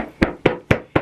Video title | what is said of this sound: Easy steps to cut Fabric professionally! Amazing Results. | that's the strong part of the fabric you hear that snap back